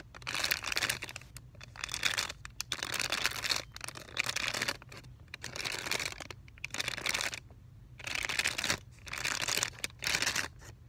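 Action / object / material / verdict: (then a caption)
scrape / sealed plastic film pouch / plastic film / none. A flat, printed plastic-film or Tyvek-like sealed pouch for a Valleylab electrode, about 20 cm with a thin electrode pad inside, is held by a corner and flexed and crinkled with the fingertips. Bright, papery crinkling comes in repeated bursts separated by short quiet pauses, with little low-end body.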